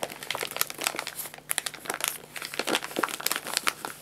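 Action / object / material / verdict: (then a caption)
scrape / paper pet food bag / paper / none. An empty paper guinea pig food bag is rubbed with the hands while its top edge is folded and crinkled with the fingertips. The result is a dense run of dry, bright, crackling crinkles with sharp short snaps and almost no low end.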